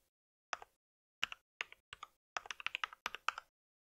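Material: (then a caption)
Plastic. Fingertips of both hands type rapidly on a compact white mechanical keyboard with plastic keycaps and a solid body, resting on a pink surface. Short bursts of dry, sharp plastic clacks are separated by brief pauses, ending in a faster run of keystrokes. The taps sound bright and crisp with no low-end thump.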